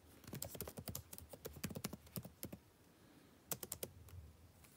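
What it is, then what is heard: Plastic laptop keyboard. Fingertips of one hand type fast on a backlit laptop keyboard with plastic keys, making quick, short clicking taps with a low thud and a bright click on top. A rapid run of keystrokes lasts about two and a half seconds, then goes quiet before a brief final burst of taps.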